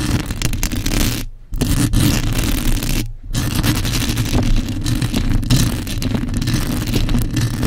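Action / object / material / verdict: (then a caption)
scrape / metal mesh microphone grille scratched with nails / metal mesh / none. Long acrylic nail tips quickly scratch and tap the bare, hollow metal mesh grille of a black condenser microphone. The result is a dense, scraping rustle over a heavy, booming low rumble, broken by two brief near-silent pauses before the scratching resumes.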